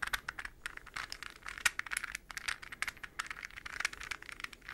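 A hollow, translucent green plastic puzzle ball, palm-sized with hexagonal segments, is held between the hands and tapped quickly with fingernails and fingertips. It gives a rapid, irregular stream of short, dry, clicky taps, bright and centered around 2 kHz with almost no low end. Each tap dies away instantly with no ring.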